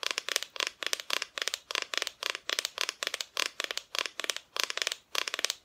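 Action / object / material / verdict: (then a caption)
tap / wooden Christmas decoration / wood / none. Repeated tapping on a wooden Santa Christmas decoration. The taps come in quick, evenly spaced clusters, each dry and bright with no low end and almost no ring.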